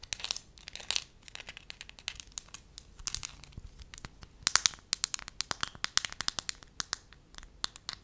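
Long nails scratch and crinkle a thin, pale yellow, pliable wax sheet held up close while fingers stretch and flex it. The result is a quiet, steady stream of sharp, bright crackles and clicks over a soft crinkling hiss, with almost no low end.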